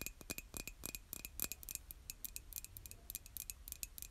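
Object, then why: Glazed ceramic mug tapped with fingernails. Long acrylic nails tap the outer wall of a hollow, white glazed ceramic coffee mug held by its handle. Quiet, quick, bright clicks come in an irregular ticking rhythm, about two dozen taps in four seconds. Each click dies almost instantly, with a faint glassy ring near 2.5 kHz over a soft low rumble.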